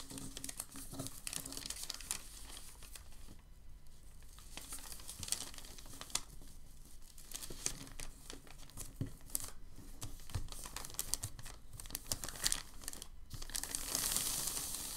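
A crinkled sheet of white packing paper is lifted at the edge, then pressed flat with both palms. Steady dry crinkling and rubbing fill the clip, with sharp bright crackles over a soft low rustle, and a brighter hiss builds near the end.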